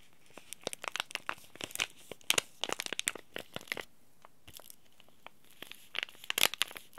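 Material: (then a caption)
Plastic foil. A small, sealed, green laminated Oi Ocha tea bag packet made of plastic foil is scratched with fingernails, then crinkled between both hands. Sharp, bright, dry crackles come in rapid bursts, with almost no low end and no ring after each snap. A quieter stretch in the middle gives way to louder crinkling near the end.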